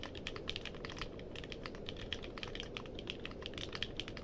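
Fingertips type quickly on a compact mechanical keyboard with a purple case and plastic keycaps. The keystrokes come as a steady stream of short, dry clacks with a bright tone around 3.3 kHz, over a constant low rumble. Each click dies away almost instantly.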